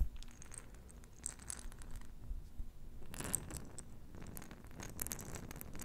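Long nails tap and scratch the side of a small, round, clear glass jar with a metal lid, filled with pink plastic beads. Quiet, crisp, bright taps and rasping scratches sit over a low, steady rumble, with a denser burst of scratching midway.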